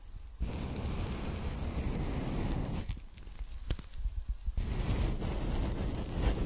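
A folded strip of pink polyethylene foam packing bag is held and rubbed with fingers and long nails, giving a dense, low, rumbling scratching that sits mostly in the bass. The rubbing thins out midway into sparser crackles with a few sharp, bright clicks, then returns to a steady, heavy scratch to the end.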